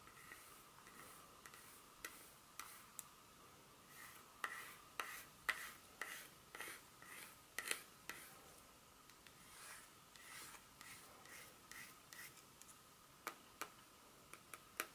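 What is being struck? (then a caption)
Flat dark chocolate bar. Long pointed nails tap and scratch the smooth back surface of a solid, flat dark chocolate bar held in the hand. About 25 quiet, sharp clicks land at an irregular pace, each dying away almost instantly with a bright tone around 2 kHz. Soft scratching swells fill the gaps between them.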